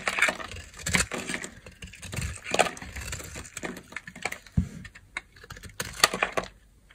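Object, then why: Bar of soap carved with a knife blade. A solid oval yellow bar of dry soap, held in the hand, is carved with a utility knife blade into curls and chunks. Crisp, dry scraping and crackly cutting strokes come in bursts, with sharp, bright snaps as pieces break away.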